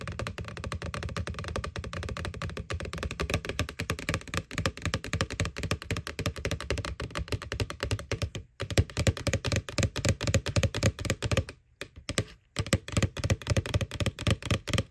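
Long nails tap rapidly on the side wall of a small, hollow white plastic ghost Halloween candy bucket from McDonald's, near its printed eyes. The steady stream of quick, dull, hollow plastic thuds has a low body and short ring, broken by brief pauses around 8.5 and 12 seconds.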